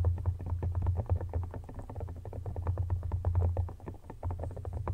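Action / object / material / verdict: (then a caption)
tap / silicone phone case / silicone / none. A soft, empty red silicone phone case lies flat on a blanket while fingertips rub it, then fingertips and nails tap and scratch its back rapidly. The result is a dense, quick patter of soft, muffled taps and scratchy strokes over a steady low hum.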